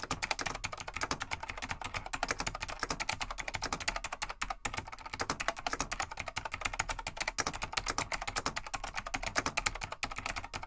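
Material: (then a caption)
Plastic. Fingertips of both hands type steadily on a plastic vintage full-size mechanical keyboard (Laser XT/AT), a large beige plastic desktop keyboard with light plastic keycaps. The result is a dense, continuous stream of sharp, bright clacks that die away almost instantly, with little low-end body.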